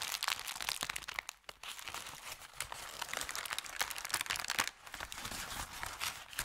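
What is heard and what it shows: Fingertips crumple, squeeze and crinkle an empty, thin, medium-sized brown kraft paper bakery bag with red print over a felt mat. The result is a dense, continuous stream of bright, dry crackles and crunches with almost no low end. The crackling drops briefly to near-silence about a third of the way in and again near the three-quarter mark before resuming.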